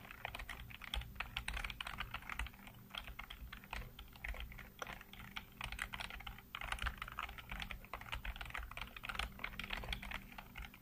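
Fingertips type rapidly on the keys of a black plastic backlit computer keyboard. A dense, continuous stream of short, bright clicks and taps runs throughout, with a steady low hum underneath.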